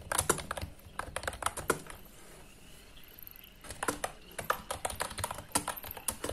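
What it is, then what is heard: Plastic mechanical keyboard. Fingertips with short nails rapidly press and tap many keys on a white, full-size, retro-style Rexus KM9 wireless mechanical keyboard with round plastic typewriter-style keycaps and a hollow plastic case, resting on a desk. Quick, bright plastic clacks come in uneven bursts, with a quieter pause of about a second and a half in the middle before the typing picks up again.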